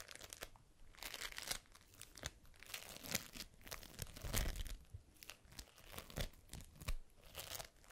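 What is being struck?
Foam bead slime (floam).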